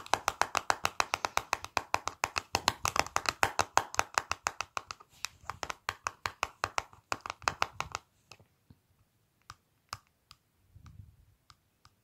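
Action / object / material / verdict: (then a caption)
tap / plastic cosmetic palette tapped with fingernails / plastic / none. Fingertips and long pointed nails tap and click rapidly on the clear plastic lid of a small, flat Revlon lip powder palette with a black plastic frame. A dense run of short, bright clicks with almost no ring continues for about eight seconds, then thins out to a few scattered, isolated taps.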